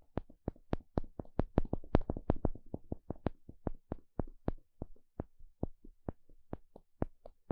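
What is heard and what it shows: A small plastic pick pokes and scratches a thin, solid, flat wooden paddle stick shaped like a spatula. About 29 short, dry, crisp taps and ticks come in an uneven rhythm, each with a low woody knock and a bright click on top. Each one dies away almost at once.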